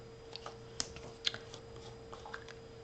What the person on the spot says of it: make sure you shake it you can hear that little ball in there rolling around